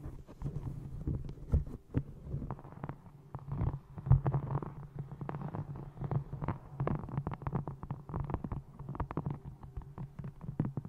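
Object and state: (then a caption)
Faux leather covered hardcover book. A small hardcover book with a textured brown faux leather cover is held upright close to a microphone and tapped with long nails and fingertips on its face and top edge. Rapid, irregular taps land as soft, muffled, bassy thumps that die away almost instantly, with occasional brighter nail clicks on top.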